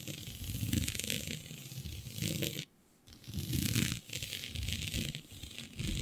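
Long nails scratch across a flat sheet of black synthetic stretch fabric with a shiny dotted pattern. The result is a dense, rough, bright scraping texture with a low rumbling undertone, broken by a brief silent pause near the middle before the scratching resumes.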